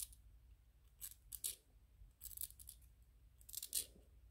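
Fingernails scratch and tap on a small white 3D-printed PLA plastic ghost toy, making short, crisp, bright bursts of clicking and scraping. The bursts come in separated clusters with very little ring, over a faint low background rumble.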